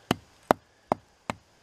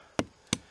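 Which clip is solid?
The second.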